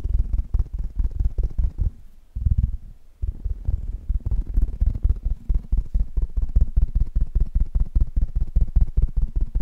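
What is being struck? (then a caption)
Metal mesh microphone grille. Fingertips of both hands rapidly tap the hollow metal mesh grille of a black Blue Yeti microphone. The result is a fast, uneven stream of short, deep, dull thumps with almost no ring, briefly dropping to a softer low rumble just after two seconds before the tapping picks back up.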